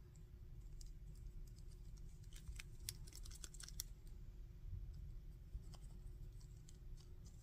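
Fingers tap, scratch and click the articulated joints of a Goku plastic action figure, about 15 cm tall, made of solid plastic with a removable silver hair piece. Quiet, sharp, bright clicks and scratchy ticks come in scattered bursts, thickest in the middle, over a steady low hum.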